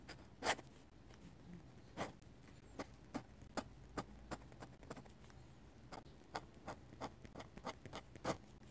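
A metal-nib dip pen held in the fingers scratches quick, feather-like hatching strokes onto the white paper of an open sketchbook. Each stroke is a short, dry, bright scratch, repeating in an irregular series over a faint low background hiss.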